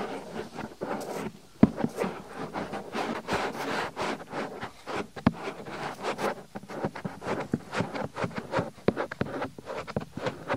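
Fingertips quickly rub and pinch the top and rim of a soft white silicone ear on a binaural microphone. The result is a steady stream of close, mid-pitched rubbing and scratchy friction noise, broken by brief sharp flaps and pops.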